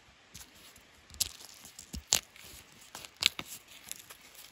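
Fingertips and nails scratch and peel loose bark strips from a long, solid, smooth wooden walking stick. Quiet, dry crackling and tearing bursts come at irregular intervals, with a few sharper, brighter snaps standing out over faint scratching. The sound is thin and crisp, almost entirely high in pitch, with no low body.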